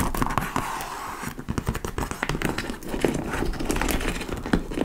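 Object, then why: Leather or faux-leather handbag. Long nails tap and scratch the top panel and laced front of a large, hollow, dark-brown leather tote bag, possibly faux leather. The result is a busy run of short, dry taps and rough scratching and crinkling, with most of the energy low and little high-end brightness.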